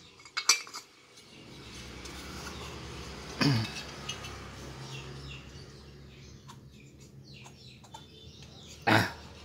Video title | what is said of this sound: ring piston rx king 4EG jepang, solusi blok berisik kompresi drop | Ini blok masih padat, ini masih bagus.